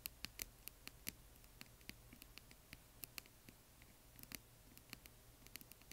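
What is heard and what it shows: Long nails and fingertips tap and scratch the sides of a small, hollow, yellow glittery plastic box holding colored plastic bingo chips. Quiet, sharp, bright clicks come in an irregular patter, with faint scratching between them over a low steady hum. Each tap dies away almost at once.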